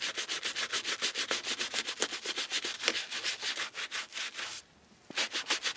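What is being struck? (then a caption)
Leather shoe scrubbed with a bristle brush. A foam-covered brown leather shoe, held in a gloved hand, is scrubbed over the upper and toe with a round bristle brush. About two dozen quick, bright, hissy brushing strokes repeat in a steady rhythm. There is a brief quiet pause near the end before the scrubbing resumes.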